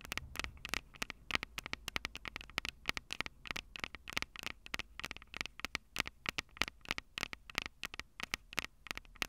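Long purple nails tap the metal microphone capsules on a Tascam DR-05 recorder in a fast, irregular stream of sharp, dry clicks. Each tick is bright and crisp, centered around 2 kHz, with almost no ring, over a faint steady hiss.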